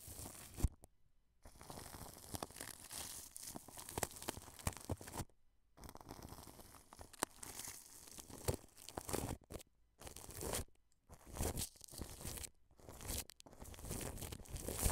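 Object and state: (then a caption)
Plastic cling film brushed over a microphone. A wide paintbrush brushes clear plastic cling film wrapped over a white dome microphone, sweeping across the sides and grille. The result is close, crinkly rustling and crackling with a dull low rumble beneath, in bursts of strokes broken by several brief silences.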